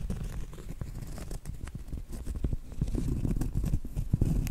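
Long acrylic nails scratch and tap the flat face of a round, solid cork trivet. The result is a dense, irregular mix of soft, dull scratching and quick, dead-sounding taps, mostly low and muffled, with no ring after each tap.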